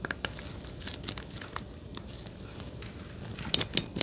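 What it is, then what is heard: Plastic game controller grip. Gloved fingertips rapidly click the buttons of a hollow plastic Nintendo Switch Joy-Con controller grip, a handheld-size piece held beside the microphone. Sharp, bright, dry clicks with a faint crinkly texture pop out over a quiet hiss, with one loud click near the start and a denser burst of clicks toward the end.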